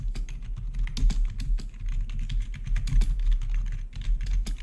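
Fingertips of both hands type rapidly on a full-size black plastic membrane-style gaming keyboard with blue-to-red backlit keys. A steady, dense stream of short, soft clacks with a low, thuddy body and brief bright ticks carries on throughout with no pauses. Each keystroke dies away almost instantly.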